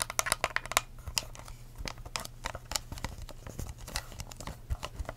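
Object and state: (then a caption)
Plastic cup tapped and scratched with nails. Long acrylic nails tap and scratch the sides and blue lid of an empty, hollow, clear ridged plastic cup with a curly straw, held tilted. Quick, crisp bright clicks come in a dense burst at first, then continue as scattered taps mixed with dry, crinkly scratching over a faint steady low hum.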